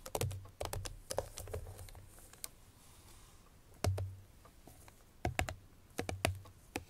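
Long fingernails of both hands tap fast on the top face of a small, closed, hollow, cream-colored Chloé paperboard perfume box, possibly still wrapped in cellophane. Quick bursts of crisp, bright clicks over a dull, hollow low thump come in clusters separated by short quiet pauses. Each tap dies away almost instantly.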